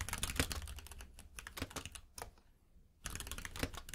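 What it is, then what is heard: Mechanical keyboard with plastic keycaps. Fingertips of both hands type on a compact 60% mechanical keyboard with pink and white plastic keycaps resting on a plush mat. A fast run of clacky keystrokes with a soft low thud under each press breaks off for a quiet pause in the middle, then resumes just as briskly.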